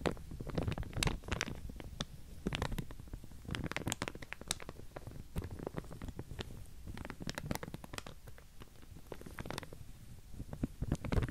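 Fingernails scratch and flick the teeth of a pink plastic wide-tooth comb held up in the air, making a quiet, steady run of sharp ticks and raspy scratches. Each flick snaps bright and dies almost instantly over a soft, low, rumbling undertone.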